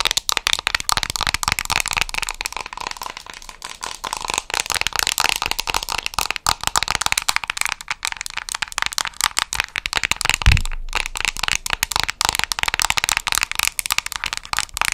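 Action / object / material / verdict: tap / small plastic cosmetic jar / plastic / none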